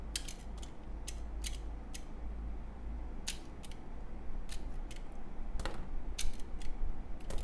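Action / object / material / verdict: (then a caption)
scrape / glycerin soap bar cut with a knife blade / glycerin soap / none. A red utility knife blade scrapes and shaves thin curls off a small, solid, translucent yellow glycerin soap bar with a white swirl inside, held in one hand, with the shavings piling up below. Crisp, bright scraping strokes come at an irregular pace over a steady low hum, each one short and dry.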